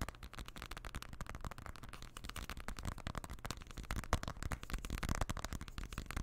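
Fingertips and nails tap and scratch along the aluminium edge and back of a silver iPhone with a glass front, held in both hands just above the microphone. A dense stream of quick, close-miked clicks and scrapes keeps a deep, bassy thump. It grows slightly louder and busier toward the end.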